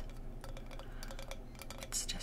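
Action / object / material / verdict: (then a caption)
tap / acacia wood rolling pin / wood / solid. A large, solid acacia wood rolling pin is tapped repeatedly, giving quick, dull, muted clicks with almost no ring. The pin is solid rather than hollow, so its sound is unusually deadened for wood.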